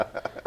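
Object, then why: Desk, laminate over wood. Knuckles knock three times on a laminate-topped studio desk with wood underneath, rapping on it for luck. Each knock is a short, dry, hollow tap centred around 680 Hz that dies away almost instantly.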